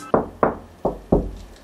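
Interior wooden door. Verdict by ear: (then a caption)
Hollow. Four knocks on a hollow-core interior door give short, hollow thuds centered in the low-mid range, each fading within a fraction of a second. The hollow sound shows the door is hollow inside, which is blamed for its poor soundproofing even after the door-gap seals were added.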